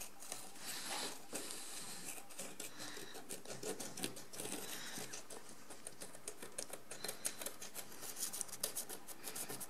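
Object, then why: Encrusted ceramic jar. A wooden stick scratches in repeated strokes across the pale crust of a large encrusted ceramic vessel lying on its side. The result is a quiet, dry, rasping patter of many short, bright scratches that grow sharper and more distinct toward the end.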